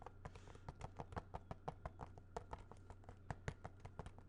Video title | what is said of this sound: Whats in the Vault? Movies R Us (ASMR, Tapping, Soft Spoken) | As you can hear, this is definitely a much harder plastic sounding.